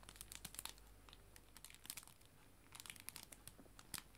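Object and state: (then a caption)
Clear plastic cello bag, crinkled. Hands squeeze and crinkle a clear plastic cello bag holding paper art prints, working it hard. Sharp, bright crackles come in irregular bursts and clusters over a faint, steady low hum. Each crackle cuts off almost instantly.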